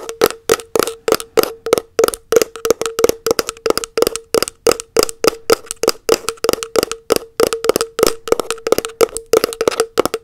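A round plastic body butter tub, held lid-up, is tapped on its lid and rim with long nails in a quick, steady rhythm of about fifty dry, woody clicks. Each tap has a hollow ring around 500 Hz with a bright edge, and it dies almost instantly.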